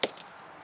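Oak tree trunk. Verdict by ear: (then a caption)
Solid. Two sharp mallet taps on the trunk of a chinquapin oak give short, bright, dry knocks with almost no low end and very little ring. Moving on from a hollow area, this part of the trunk sounds solid.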